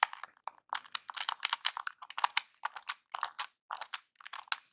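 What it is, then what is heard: Plastic game controller being tapped. Fingertips tap the buttons of a small, hollow, NES-style plastic game controller, then a metal claw nail taps its D-pad. The result is a quick, irregular run of dry, bright clicks and crunchy ticks with no low end and almost no ring after each hit.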